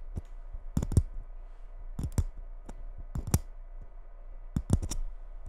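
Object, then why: Glitter-covered Christmas bauble. Long red nails tap the surface of a gold glitter Christmas ball ornament held against the mic. The taps come in small clusters of short, sharp clicks, each with a dull low thump underneath and a bright ticking edge that dies away almost at once.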